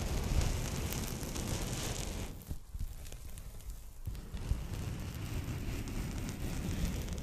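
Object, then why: Polyethylene foam packing bag. A pink polyethylene foam packing bag, folded flat and held in both hands, is scratched across its textured surface with long nails. The result is a dense, continuous rustling scrape with a heavy low rumble. Midway it thins to a quieter, sparser patch before the full scratching returns.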